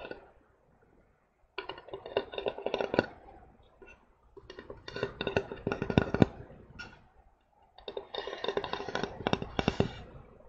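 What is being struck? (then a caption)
Flat painted wooden plaque. A solid, hand-sized, flat heart-shaped wooden plaque painted with rainbow stripes is held up and tapped with fingertips and nails. Quick, dry taps come in three bursts separated by short pauses, each tap dying away almost at once.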